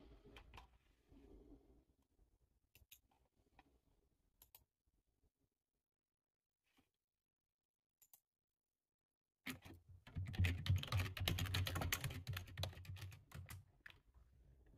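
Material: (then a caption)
Plastic. Fingertips type on a full-size dark plastic computer keyboard resting on a desk. A few soft, scattered key clicks with near-silent gaps give way, about two-thirds through, to a louder run of fast, dense typing with low thuddy keystrokes and bright, short clicks that end without ringing.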